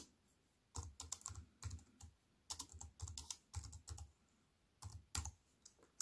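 A compact wireless keyboard with an aluminium body and plastic keys is typed on fast with both hands, using fingertips and long nails. Bursts of quick, bright clicks come in several runs separated by short pauses, each tap with a low thud beneath it and almost no ring.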